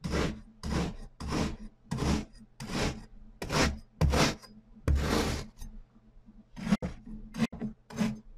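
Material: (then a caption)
Sand. A metal cleaver is driven down through a large, flat, solid pyramid of pink and purple kinetic sand discs resting on a white surface, slicing and scraping it. The result is a series of dense, gritty rasping strokes with a low thud beneath them and a bright grainy hiss on top, each stroke separated by short pauses. Toward the end the strokes turn into quicker, sharper cuts.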